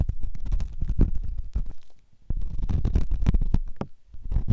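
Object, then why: Silicone microphone ear scraped with a metal ear pick. A metal ear pick scratches inside the ear canal of a white, solid silicone ear on a binaural microphone. It makes close, deep, muffled rumbling scrapes and soft crackling bursts. The scraping breaks off briefly around the middle, then resumes.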